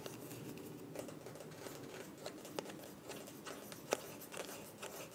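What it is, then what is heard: Small plastic cosmetic tube. Long nails tap and scratch a small, filled white plastic cosmetic tube with a mint cap. Quiet, dry clicks and sharp ticks come over a steady soft scratching rustle, with brief bright transients that die away almost at once.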